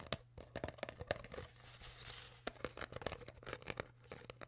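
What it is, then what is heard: Empty plastic water bottle. Hands squeeze and crinkle an empty, partly crushed clear PET plastic water bottle with its cap on, while long nails scratch along its surface. Sharp crackles and pops come in quick bursts, with a softer, hissing scratch in the middle. A steady low hum sits underneath throughout.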